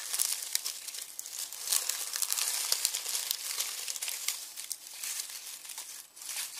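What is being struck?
Onion skins in a plastic mesh bag.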